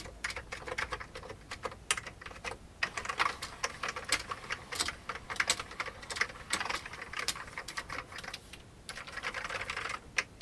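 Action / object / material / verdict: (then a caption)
tap / plastic computer keyboard with mechanical keys / plastic / none. Fingertips of both hands type rapidly on an old, full-size beige plastic computer keyboard with mechanical keys and a hollow case. A steady stream of quick, bright, clacky key taps is heard, each dying away almost instantly, with very little low end. The rhythm runs unevenly, with occasional louder strikes and brief pauses.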